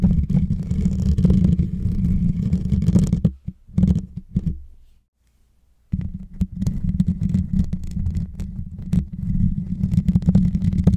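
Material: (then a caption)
Metal. Fingertips and short nails scratch and tap the hollow, rounded metal mesh grille on top of a white Blue Yeti microphone, producing a dense, low, muffled rumble of scraping and thumps. Midway, the scratching breaks off into a few isolated taps and a brief near-silence, then the steady low scratching resumes to the end.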